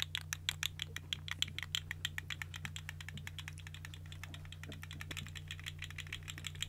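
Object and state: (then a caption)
Plastic articulated fidget slug toy. A small, hollow, colorful segmented plastic fidget slug toy is dangled and wiggled in front of a microphone by fingertips with long nails. Its plastic segments make rapid, bright, dry clicks and rattles that come fast at first and then loosen into a quieter, scattered clatter. A steady low hum runs underneath throughout.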